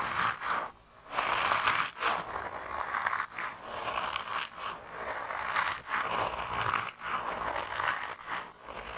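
A hand-sized grey soft rubber mouse toy, solid and flexible, is squeezed and kneaded between thumbs and fingers. It makes repeated squeaky, rubbery scraping and squelching bursts centered around 1 kHz, with bright edges and almost no low end, separated by brief quiet gaps.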